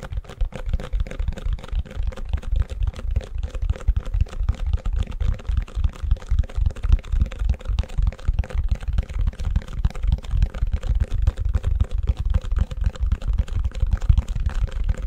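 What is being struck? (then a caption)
Plastic ice cube tray. An empty, long white plastic ice cube tray is held upside down in front of a microphone while fingertips and nails tap and scratch the backs of its cells. The result is a steady stream of fast, somewhat irregular, dull taps, heavy in low thump with almost no ring, mixed with soft scratching throughout.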